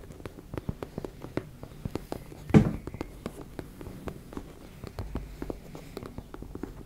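Long red nails scratch and tap rapidly across a teal embossed-fabric cosmetic pouch, making a steady run of quick, soft, dull taps with brief scratchy textures. One louder thump stands out near the middle. The sound stays mostly low and muffled with almost no bright content.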